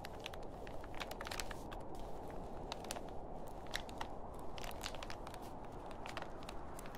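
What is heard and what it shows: Fingertips press, lift and crinkle the film of a large, thin grey plastic reusable shopping bag with a green print, lying empty and flat on a table beside a white plastic bag handle. A steady low, rustling crinkle runs throughout, dotted with many sharp, bright crackles.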